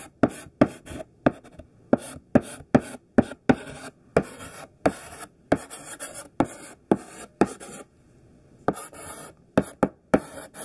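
Chunky, solid pink sidewalk chalk, held in the hand, writes on a black chalkboard with coarse scraping strokes. A quick, uneven series of short, dry, gritty scrapes and taps is heard, each with a bright, hissy edge and almost no ring. There is a brief pause near the end before the strokes resume.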